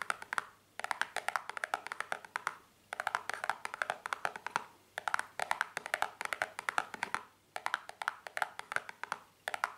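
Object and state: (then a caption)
Cardboard box. A small, hollow, white printed cardboard cream box held on a towel is tapped with long painted fingernails. Quick bursts of dry, clicky taps come in rapid runs separated by short pauses. The taps are short and light with almost no ring.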